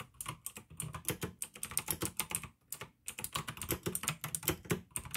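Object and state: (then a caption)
Plastic mechanical keyboard being typed on. Fingertips type quickly on a pink plastic AUKEY mechanical gaming keyboard with blue switches. Rapid, crisp keystrokes each give a sharp, bright click over a low plastic thud, with a brief pause near the middle before the typing resumes.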